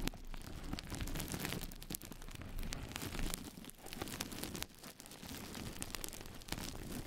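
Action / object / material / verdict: scrape / knitted nylon mesh scrub sponge / nylon mesh / none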